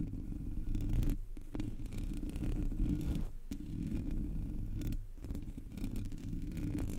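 Long natural nails scratch with both hands across the black metal mesh grille of a Blue Yeti USB microphone with a hollow head and no foam cover. The result is a continuous, dense, low-heavy scratching rumble, with brief dips in loudness between strokes.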